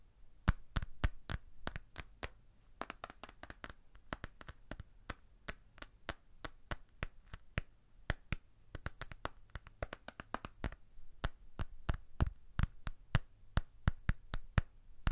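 A red plastic paddle hairbrush with a plastic handle and cushioned bristle pad is held up in one hand while the fingertips and nails of the other hand tap and scratch its back and handle. The result is a quick, irregular stream of sharp, dry plastic clicks and taps with no ring, with faint scratching in between over a low background hum.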